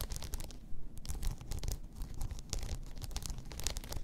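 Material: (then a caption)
Rhinestones. Long nails scratch and pick at a blue rhinestone-covered tumbler lying on its side. The result is a continuous run of dry, bright scratching and quick ticking clicks over a soft low rumble.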